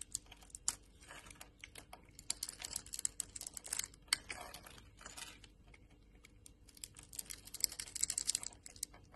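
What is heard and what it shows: A metal utility knife blade scrapes and carves small cubes off the grid-patterned surface of a solid green bar of soap held in the palm. The result is a rapid run of dry, crisp, high-pitched scraping and crumbling ticks with almost no low end and no ring.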